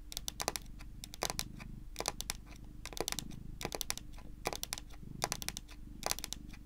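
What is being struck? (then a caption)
Wooden tabletop. Long pointed nails rapidly tap a solid, dark wood-grain tabletop in quick clustered bursts. Each bright, clicky tap dies away almost at once, over a steady low rumble and hum.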